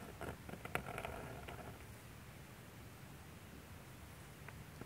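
A metal G-pen dip nib, held in fingers, scratches across a thin sheet of manga drawing paper lying flat on a light box while inking a face. Quick, irregular scratchy nib strokes cluster in the first second and a half, then fade to a faint, steady hiss with a few soft ticks near the end.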